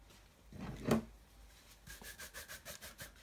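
A wooden-backed bristle brush is rubbed briskly back and forth by hand over the leather upper of a tan leather high-top Converse sneaker hanging hollow on a wall rack. A longer, louder swipe gives way to a quick, even run of about seven short, bright, scratchy brush strokes.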